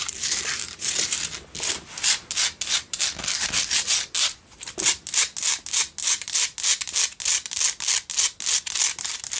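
Long nails scratch and tap the sides and base of a pink Himalayan salt single tealight candle holder. A rapid, fairly steady series of short, dry rasping strokes comes about three per second, bright and hissy with almost no low end.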